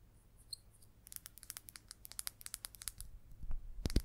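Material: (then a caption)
Resin. A solid green number 6 pool ball made of hard resin is held in the hand and tapped and scratched with long acrylic nails. A quick, uneven run of short, bright clicks with faint scratching follows a quiet start, with a low hum underneath. The taps end in a few louder, duller knocks.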